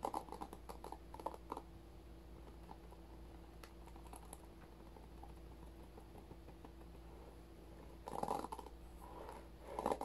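Fingertips flick and scratch across the plastic bristle tips of a handheld paddle-style hairbrush with a white and blue plastic body and rows of plastic bristles, held close to the camera. Quick, dry, crackly scratching bursts open the clip, fade to faint ticks over a steady low hum in the middle, and then return as louder bristly rustling near the end.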